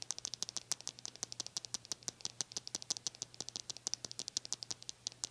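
Long nails strum the white plastic bristles of a small white plastic hair brush with a teal handle. About 48 quick, bright clicking flicks sound in a steady, rattling run, each one very short, over a faint low hum.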